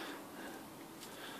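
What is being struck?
Nothing is struck.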